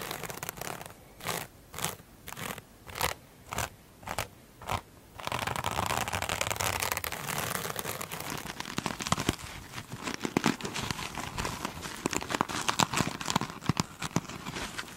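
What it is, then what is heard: Glitter-coated foam sponge. Long pointed nails tap and scratch the top of a single soft, solid, rectangular foam sponge with a beaded iridescent glitter surface. The first five seconds bring a regular run of distinct crisp taps, each a short bright burst. Then comes continuous crackly, crunchy scratching with sharp ticks scattered through it.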